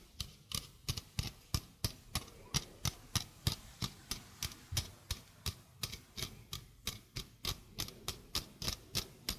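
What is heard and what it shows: Long painted fingernails tap a small, hollow stainless steel mesh sink strainer with a domed basket and flat rim. They make 33 sharp, bright, ticking clicks, each with a soft low thud and almost no ring. The taps come at a loose, fairly steady pace of about three per second.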